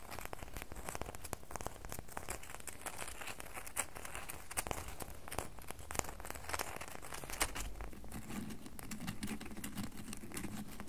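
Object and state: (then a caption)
Bar of soap being scratched. Fingernails scratch the sides of a solid red bar of soap held in both hands. The result is a steady stream of dry, crackly scratching with quick ticks, over a low rumble that shifts to a slightly higher hum near the end.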